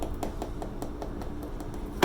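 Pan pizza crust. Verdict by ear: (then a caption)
Crispy. Light, evenly spaced taps on the crust of a pan pizza, baked for 20 minutes and left to rest, give soft, dull knocks that die away quickly. A louder, fuller knock comes at the very end. The crust sounds good, crispy and baked through.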